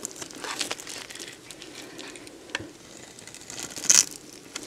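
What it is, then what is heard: Dry bar soap being carved. A box-cutter blade carves and scrapes crunchy flakes from a solid, dried beige bar of soap held in the hand. Dry, bright crackling scrapes run throughout, with a few sharper snaps standing out near the middle and toward the end.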